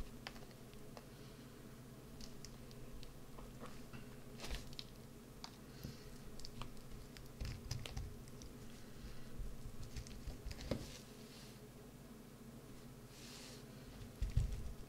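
A green soap bar is held in both hands, then carved and scraped with a white-handled carving tool. Soft, irregular scraping and light clicking sit quietly over a steady low hum, with a few sharper bursts near the end.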